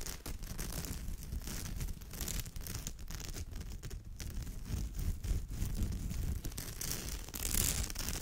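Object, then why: Woven straw bag. Long nails scratch steadily across the weave of a woven straw or raffia purse, close to the mic. The result is a continuous dry, crackling scratch with a low rumbling body and bright, rasping bursts, with no speech.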